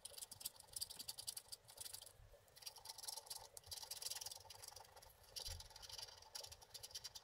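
A wooden stick scratches the wax coating off a figure on a flat, coated scratch art card. The result is a quiet, steady run of rapid, bright scratching strokes, with brief lulls between bursts and very little low end.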